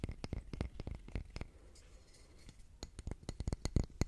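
Fingernails tap quickly on a solid grey concrete calendar block engraved with month names, held up in the air. The taps come as short, dry clicks in uneven bursts, with a roughly one-second pause in the middle before the tapping resumes.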